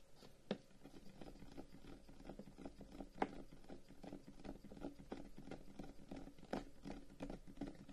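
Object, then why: Carved wooden incense box. Both hands quickly tap the top of a long, hollow, carved wooden incense box with flower-shaped cut-outs, lying on a table, using fingertips and short nails. The result is a quiet, rapid patter of soft, hollow knocks weighted toward the low end, each dying away almost instantly, with a few sharper, louder taps standing out.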